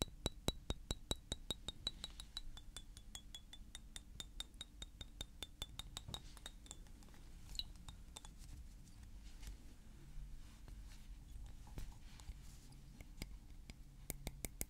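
A small, thick blue glass perfume bottle is held in the hand and tapped with fingernails and fingertips. A quick, steady run of sharp, bright clicks carries a faint high glassy ring for the first several seconds, then slows into scattered taps over a low background hum.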